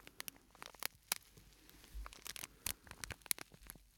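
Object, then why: Plastic sachet with sandy filling. A small, flat purple-and-white printed plastic packet with a sandy filling is held in the hands and squeezed and crinkled with the fingertips. The result is quiet, dry, bright crinkles and sharp ticking crackles, about sixteen short snaps over a soft rustling bed, with a brief low thump in the middle.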